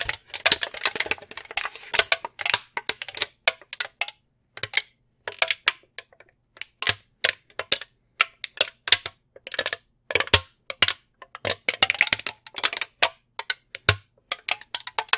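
A long brown plastic tray from a candy box, held in both hands, is tapped and scratched with fingernails. It makes quick, bright clicks and scratchy ticks in irregular bursts, with brief pauses between flurries. Each tap is dry and stops almost at once, with very little low end.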